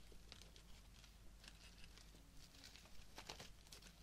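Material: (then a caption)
Fabric, plastic. Fingertips and nails rub and crinkle the fabric petals and plastic leaves and sprigs of a small bouquet of pink artificial roses with plastic stems, held close up. Soft, dry rustling and crinkling ticks come in bright bursts over a steady low hum, quiet throughout.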